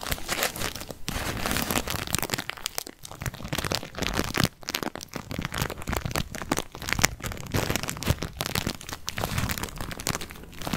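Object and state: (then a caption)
Paper tea bag. A small white paper tea bag with a string hanging down is held in the fingers while the fingertips crinkle and rub it close to the mic. The result is a steady stream of crisp, dry crinkling and rustling with bright, crackly detail and soft low brushing, broken by brief quiet gaps near 3 and 4.5 seconds.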